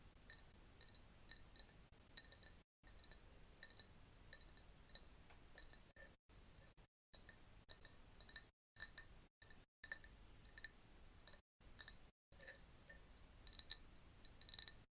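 A clear glass jar, partly filled with yellowish liquid with a bamboo straw inside, is held and tapped with long nails. The result is a steady run of light, bright clinks with a high glassy ring near 3.9 kHz that dies out almost instantly. The quiet tapping is broken by several brief silent gaps.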